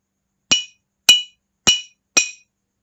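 A drinking glass is tapped with a spoon four times, each tap giving a bright, high clink around 2.9 kHz that fades within a fraction of a second. The taps come about half a second apart and are used to demonstrate the sound of a tapped glass.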